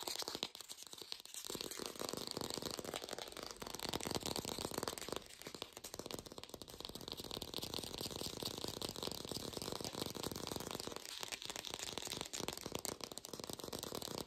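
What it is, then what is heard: Artificial plastic apple. An artificial plastic green apple is tapped fast in a lo-fi recording made without a microphone. The result is a dense, continuous stream of bright, rattly clicks with a steady crinkly hiss and very little low end, dipping briefly near 5 seconds.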